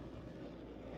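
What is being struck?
Nothing is struck.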